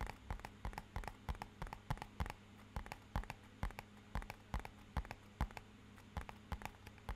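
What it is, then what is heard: Cardboard box tapped with fingertips and nails. A small, rigid, hollow, matte-black rectangular cardboard box, held upright, is tapped with fingertips and nails in about thirty quick, separate taps in uneven bursts. Each tap is a short, dry knock with a hollow, low body and a faint bright click that dies away almost instantly. A steady low hum runs quietly underneath throughout.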